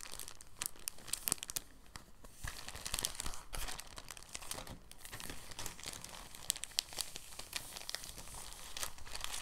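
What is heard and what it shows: An empty, thin translucent soft plastic bag is rolled and squeezed with fingers, giving a steady run of soft crinkles. Brighter crackles and sharp snaps poke up through the rustle across the whole clip.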